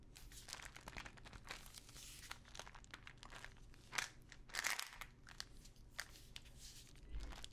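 Long nails scratch and tap a small plastic pill bottle full of pills with a paper label, close to the mic. The result is a dense run of bright, crinkly scratches and quick dry clicks that barely ring, with louder rasping bursts about four and four and a half seconds in over a low background hum.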